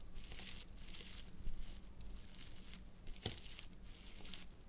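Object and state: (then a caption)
Crushed water gel beads. A metal fork, held in a hand with long painted nails, repeatedly crushes and scrapes a pile of wet, blue water-filled hydrogel bead fragments on a plastic sheet. It makes a series of soft, wet crinkling and squelching crunches with bright, hissy bursts over a quiet low hum.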